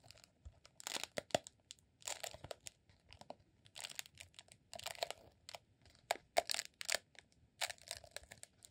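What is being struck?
Rolled honeycomb beeswax candle.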